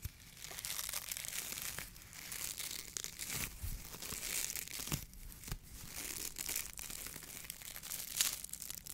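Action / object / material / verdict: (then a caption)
scrape / polyethylene foam mesh fruit sleeve / polyethylene foam / none. A small, hollow, empty white polyethylene foam mesh sleeve of the kind used to protect fruit is squeezed, crinkled and rubbed with the fingertips of both hands in front of the face. It gives a dense, bright crinkling and crackling that runs steadily for about nine seconds, easing briefly in a few short dips before picking up again.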